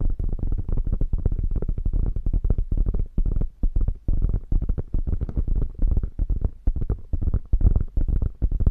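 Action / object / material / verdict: scrape / quilted faux leather bag / faux leather / none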